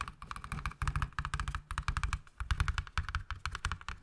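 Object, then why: Rigid plastic box. Fingernails tap and scratch rapidly across the edges and faces of a hollow, hand-sized, transparent rigid plastic box with a teal item inside. About thirty short, dry clicks land in quick irregular bursts. Each has a dull low thump and a bright plastic tick that stops almost instantly.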